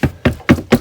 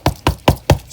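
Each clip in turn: First: water-damaged soft RV wall panel. Second: water-damaged soft RV wall panel.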